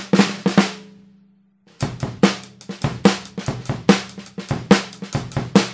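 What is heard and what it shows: A 14x5 in Mapex maple snare drum, with a hollow wooden shell and coated plastic head, is struck with wooden drumsticks. Three quick hits fade into a low ring around 195 Hz, and after a short silence comes a busy run of tapping and rolls. The sharp cracks carry bright snare rattle.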